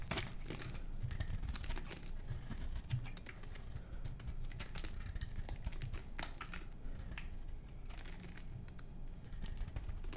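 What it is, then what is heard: Bar of soap being shaved with a knife. A small metal knife scrapes and shaves curls off the surface of a solid, palm-sized oval bar of dry white soap held in one hand. The result is a continuous stream of dense, crisp crunching and crinkling ticks with bright edges over a steady low rumble.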